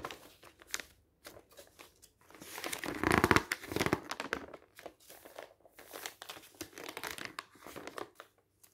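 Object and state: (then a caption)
Glossy paper brochure. Fingertips turn the pages of a glossy printed paper brochure held open on a table, making a run of soft, bright crinkles and paper rustles. The rustling swells into a louder, denser burst of crinkling partway through, then settles back into quieter, intermittent page movements.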